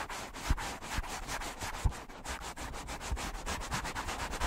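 Fingertips slowly rub the porous foam of two matching black foam windscreens on stand microphones. The result is a steady, breathy, sanding-like scratching in repeated strokes, with a few soft low thumps underneath.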